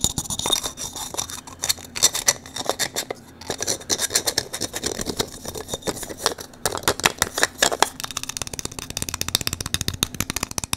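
Fingertips and nails scratch and twist the parts of a small, hand-sized blue 3D-printed plastic cylindrical puzzle with a textured, ridged surface, held in both hands. The result is a dense run of bright, dry scratches and quick clicks with almost no ring, settling near the end into a faster, more even patter of ticks.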